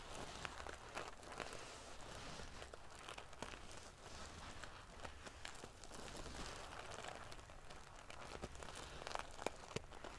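Long painted fingernails scratch and ruffle the rows of small silver metal sequins sewn onto the fabric of a large decorative pillow. The result is a quiet, steady, crinkly rustle, with scattered sharp, bright little clicks and scrapes as the metal pieces flip and rub against each other.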